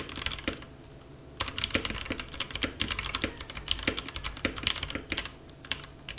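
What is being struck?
Compact mechanical keyboard with plastic keycaps.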